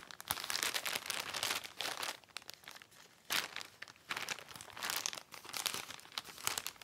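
A filled white Amazon plastic poly mailer lying on a table is touched and scratched along its edges with fingertips. The result is dense, bright crinkling and crunching in bursts, broken by short quieter pauses, with almost no low end.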